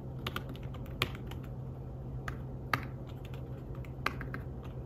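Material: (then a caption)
Fabric. Fingertips tap the keys of a slim fabric-covered tablet keyboard while typing, producing soft, irregular clicks with short, dry decay. A few keystrokes stand out louder over a steady low hum.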